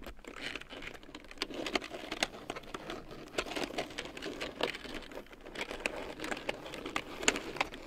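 A black plastic computer keyboard with large yellow plastic keycaps printed in black, lying on a fur rug, is typed on with fingertips and long painted nails. A fast, steady stream of light, clicky plastic key taps with bright, short-lived attacks and little low end.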